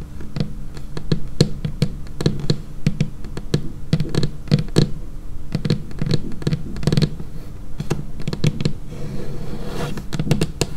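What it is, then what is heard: Laminated wooden tabletop. Long painted fingernails tap rapidly and unevenly on a dark laminated wooden tabletop, close up. Each tap is a crisp, bright click over a low, dull thump that dies away almost at once. The tapping continues steadily throughout.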